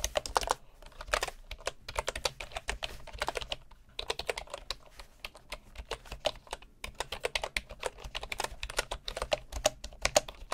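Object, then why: Bamboo wood computer keyboard with wooden keycaps. Fingertips of both hands type steadily on a full-size bamboo wood keyboard with wooden keycaps, producing rapid, dry, bright key taps that stop almost instantly. The typing comes in bursts separated by short pauses, with some taps landing louder than others.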